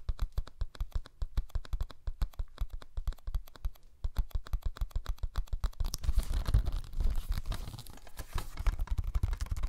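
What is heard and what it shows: A small, flat, yellow cellulose sponge, porous and soft, is held in both hands close to the mic and scratched and squeezed with the fingertips. Rapid, dry, low-heavy scratching taps follow one another in a steady stream. Partway through they blend into a denser, rougher crinkling squeeze.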